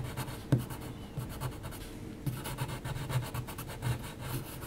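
A pencil's graphite point does dense, rapid hatching across a flat sheet of heavy textured mixed media paper. The result is a steady, low, rasping scratch that follows the paper grain. A few sharper strokes stand out, most clearly near the start.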